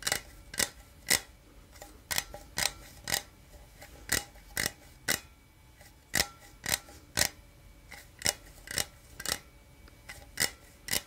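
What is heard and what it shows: A small, hollow, printed aluminum energy drink can is held in one hand and scratched with the fingertips and nails of the other. About 19 sharp, bright scratches arrive at an uneven pace of roughly two per second, each with a faint metallic ring around 2 kHz that dies away almost at once between quiet pauses.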